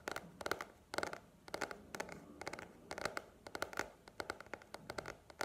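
Long nails tap and scratch a paperback book with a glossy paper cover held upright. Quick clusters of crisp, clicky taps alternate with dry scratching. The sound is bright and quiet, with a faint ring around 1.4 kHz, almost no low end, and very short decay.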